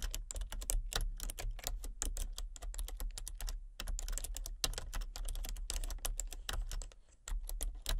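Fingertips and painted nails type rapidly on a full-size plastic computer keyboard with a colour-changing backlight, producing a dense stream of short, crisp clicks and taps. The keystrokes are dry and quick-decaying over a steady low hum, with a brief lull near the end before the typing resumes.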